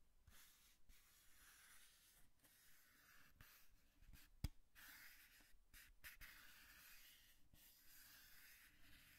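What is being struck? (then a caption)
Cardboard box. Long nails scratch and tap the flat side of a hollow brown cardboard box held upright. A quiet, steady scratchy rasp is broken by short, dry taps, with one sharper tap near the middle.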